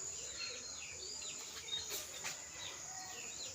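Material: Nothing is struck.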